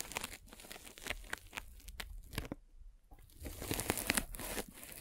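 A metal-spiked derma roller is rolled across the top of a white polyethylene foam net sleeve fitted over a microphone, making crunchy, crackling scratches with bright, sharp ticks. The scratching runs in uneven bursts, dips to near silence around the middle, then returns louder and brighter toward the end.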